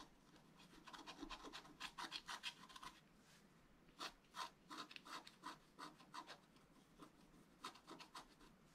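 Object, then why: Coated scratch art paper scratched with a wooden stylus. A wooden stylus scratches near the top of a flat black coated scratch art paper board. Short, bright, rasping strokes come in quick clusters, with a pause around the middle before another run. Each stroke stops almost at once.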